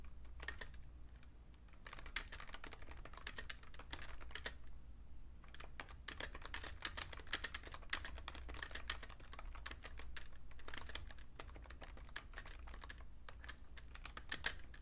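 Fingertips with short painted nails type steadily on a vintage beige plastic Fujitsu Siemens full-size keyboard with a hollow case. The result is a dense run of quick, bright clicking taps that die away almost at once. A steady low hum sits underneath, and the typing pauses briefly around the middle.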